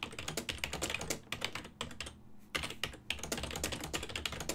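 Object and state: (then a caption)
Plastic computer keyboard being typed on. Fingertips type on a full-size black and silver plastic ergonomic desktop keyboard with hollow key switches. It makes a rapid run of sharp, bright, hollow clicks that stop quickly, with brief pauses near the middle. A faint low hum sits underneath.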